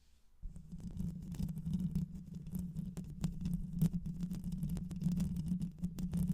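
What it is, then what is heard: Metal mesh microphone grille being scratched. Long white nails scratch over the hollow metal mesh grille of a black microphone. After a brief quiet moment, a dense, continuous scratching begins. It sounds like a boomy, low rumble with a steady hum-like tone near 160 Hz, dotted with quick bright ticks and crackles.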